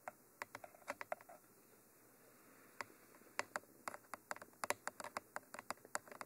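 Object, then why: Textured microphone tube tapped with fingernails. Long nails tap rapidly on the top surface of a Mitra 3D Pro binaural microphone, a hollow textured black cylinder with white end cages. About 22 sharp, dry clicks come in quick bursts, with a pause of a second or so after the first burst. Each tap stops almost instantly.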